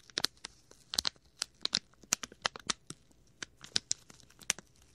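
A small, clear plastic packet with a red and white label is crumpled and rubbed between fingers close to the mic. About sixteen sharp, bright crinkles and crackles snap out irregularly over quiet gaps, with almost no low end and no ring after each one.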